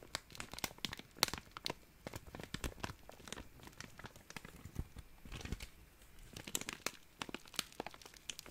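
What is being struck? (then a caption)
Thin plastic zip-lock bag. An empty, small, clear, thin plastic zip-lock bag is crumpled and crinkled between fingers. It makes a dense run of sharp, bright crackles and crunches over a soft rustling bed, with the loudest snaps coming in uneven bursts.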